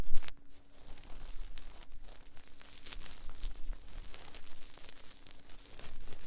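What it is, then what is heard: Silicone microphone ear rubbed with cotton swabs. Cotton swabs held in both hands rub and scratch inside the soft silicone ear molds of a binaural 3Dio microphone. Close, dense scratching and crinkly rustling fill the clip with a steady low rumble underneath, starting with a louder burst before settling into continuous soft friction.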